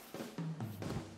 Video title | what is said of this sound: Video Tutorial Eksperimen Science Film Festival 2022 | ketika balon yang berisi murheksagonal diguncangkan gesekan yang terjadi antara mur dan balon semakin besar sehingga suaranya juga makin besar